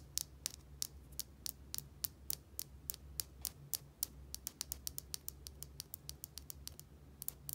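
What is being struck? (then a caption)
Small plastic bottle with cap. Long nails tap and scratch a small plastic bottle with a white cap, making 34 short, bright clicks with almost no ring. The taps come in a quick, irregular rhythm over a faint, steady low hum.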